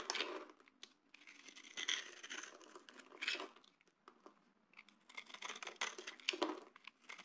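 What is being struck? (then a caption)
Bar of soap. A small blade cutter scrapes and carves shavings and grooves from a solid, palm-sized oval yellow bar of dry soap held in one hand over a bed of soap flakes. Dry, crinkly, bright scraping comes in several bursts of rapid rasping with quiet pauses between them.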